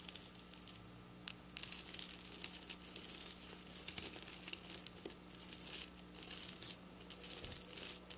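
Long black nail tips scratch and pick at silver plastic sequin fabric lying on a counter, making bright, crinkly rustling and scraping in bursts of clicks. A faint steady low hum sits underneath throughout.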